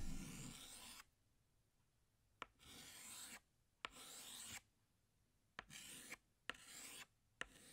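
A hand scratches a green chalk stick across a large, flat black chalkboard in six long drawing strokes, each separated by a quiet pause. Every stroke begins with a sharp tap of chalk meeting the board and continues as a bright, dry, rasping scrape with a gritty, high texture.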